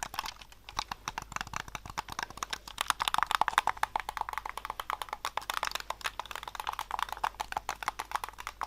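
A hollow white plastic Xbox-style game controller is held in both hands while fingertips and thumbs press and click its buttons, triggers and sticks. The result is a steady stream of rapid, dry plastic clicks and taps that cut off almost instantly. They are centered around the midrange near 900 Hz, with bright edges and very little low end.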